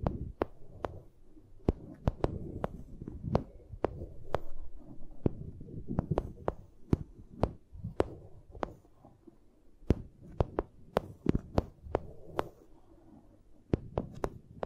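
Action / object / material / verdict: tap / vinyl sheet / vinyl / none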